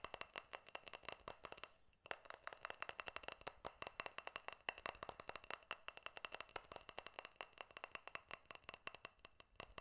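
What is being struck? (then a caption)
Stainless steel cup. A small hollow stainless steel cup or tumbler, held in both hands, is tapped rapidly with fingertips and nails close to the microphone. The result is a dense stream of bright, crisp metallic clicks with almost no ring, pausing briefly around two seconds before continuing.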